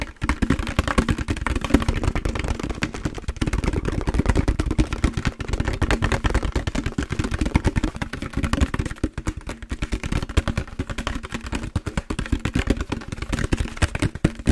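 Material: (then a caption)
Plastic. A large, empty, hollow translucent green plastic jug is tapped and rubbed with fingertips and palms. A dense, continuous stream of quick, short, hollow thumps and drumming taps sits mostly in the low end, over a faint steady low tone and light rubbing rustle.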